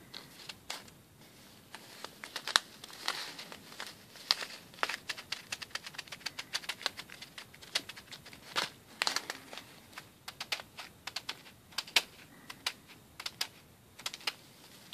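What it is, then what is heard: Plastic bag of plastic pearl beads. Fingertips rapidly press and tap small white plastic pearl beads through a clear plastic bag held in both hands. The result is a dense run of quick, sharp, bright clicks, like typing, with faint plastic crinkling and no low end. Each click dies away almost instantly.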